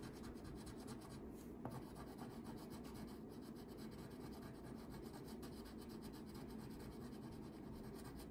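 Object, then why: Wax crayon on a paper sheet. A red wax crayon, held by a hand with long painted nails, rubs in short strokes across a thin paper coloring page lying flat on a table while coloring in hair. The result is a steady, quiet, scratchy rasp with a soft low body and a single slightly sharper scrape near the start.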